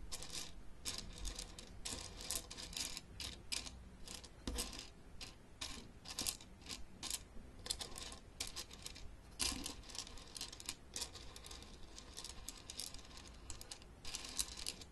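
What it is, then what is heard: Plastic game case tapped with nails. Long dark-painted fingernails and fingertips tap the edges of the lower tray of an open, hollow blue plastic travel Battleship game case, its trays holding pegs and ships. The result is a quiet, steady stream of quick, bright plastic clicks and ticks with almost no ring, occasionally bunching into faster rattling flurries.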